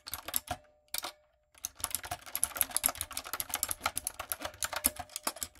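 Fast typing on a backlit, typewriter-style mechanical keyboard with round retro plastic keycaps and a hollow plastic body, struck with long coffin nails and fingertips. About 29 sharp, bright plastic clacks rattle out in a quick, uneven run, broken by a short pause early on before the typing picks up again. Each click is short and dry, with almost no low end.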